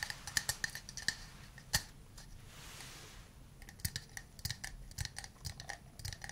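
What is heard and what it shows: A small hollow wooden cup, held in the hand, is tapped around its sides with fingernails and fingertips. Quick, sharp, clicky taps with a bright tone near 1.8 kHz die away almost instantly, with a quieter stretch of soft hiss around the middle. A busier run of taps follows.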